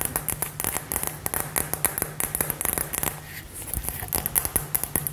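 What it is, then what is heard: Glass light-up ball tapped with long nails. A hollow, light-up glass LED ball filled with gold glitter is held and tapped and scratched with long nails. It makes a rapid run of sharp, bright clicks and ticks over a soft low hum, with a brief quieter scratchy stretch in the middle before the tapping picks up again.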